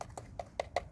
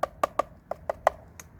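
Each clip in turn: First: plastic engine cover. Second: metal motorcycle part.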